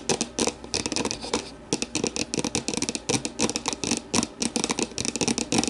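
An empty, translucent plastic deli container is held and turned while long nails scratch and tap its rim, inside and base. A rapid, uneven run of crisp, hollow plastic taps and scratchy strokes stands out, bright with a light midrange body and little low end. Each tap dies away almost at once.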